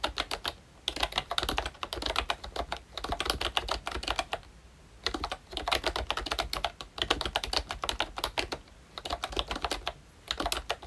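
Fingertips of both hands type on a pink plastic ROYCHE Disney Mickey Mouse retro membrane keyboard with round black keycaps. Quick bursts of short, bright, clicky taps are broken by brief pauses, with each keystroke dying away almost instantly.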